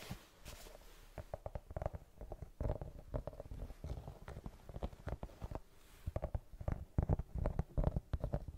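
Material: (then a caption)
Rubber. Long painted fingernails scratch and tap across the tread of a white sneaker's brown patterned rubber outsole. The result is a quick, irregular run of dry, low, muffled scrapes and taps with short bursts of bright grit, and none of them ring on.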